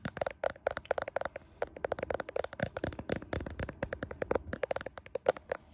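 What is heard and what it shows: Long pink nails scratch and tap the glass back of a handheld smartphone with a metal frame, near the camera lenses. A rapid, irregular run of short, dry clicks and crackly scrapes, each dying away almost instantly, with a faint tone around 500 Hz and bright clicky edges.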